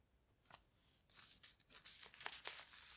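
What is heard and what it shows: Fingertips rub and scratch along the page and lower edge of an open paper newspaper lying on a bed. The result is a quiet, dry, bright rustling made of nine quick scratchy strokes that grow slightly louder and denser toward the end.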